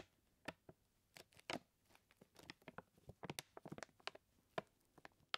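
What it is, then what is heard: Full paper flour bag. Both hands tap and scratch with fingertips and nails on the paper surface of a large, full white paper bag of flour standing on a wooden table. Quiet, dry, crisp taps and papery scratches come in an irregular series, each one short and bright with almost no ring.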